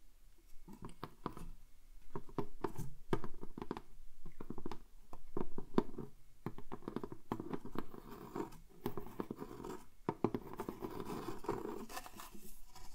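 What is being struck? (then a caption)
Carved wooden picture frame. Fingertips and nails tap and scratch the beaded, carved edge of a small dark wooden picture frame held upright around a painting. Rapid, dry, woody taps mix with scratchy scraping in quick clusters, each hit dying away almost at once with no ring.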